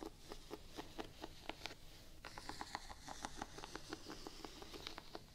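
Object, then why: Rubber waffle-pattern shoe sole tapped with fingernails. Long painted nails tap quickly on the gum-brown, solid rubber waffle-pattern outsole of a single Vans sneaker. The result is a quiet, steady patter of short, dry clicks with a mid-pitched knock and a bright tick, each dying away almost at once over a faint low hiss.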